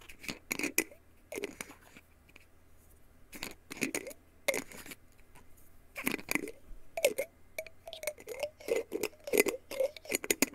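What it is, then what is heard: Glass jar with plastic screw lid. A small, hollow, clear glass jar with a black plastic screw lid is held in both hands while fingertips and nails tap and scratch along its glass sides and lid. The result is a close series of short, bright clicks and scratchy rasps with a light glassy ring, in uneven bursts over a quiet background.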